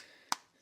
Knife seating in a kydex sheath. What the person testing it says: always have a great click this one the retention on it is very nice